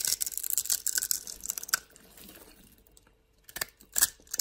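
A flat metal blade scrapes the surface of a solid pink bar soap held in hand, shaving it into powder and cubes. Dense, bright, crackling scrapes fill the first couple of seconds, then fade to a faint soft rasp and near silence. A few sharp, crisp scrapes break through near the end.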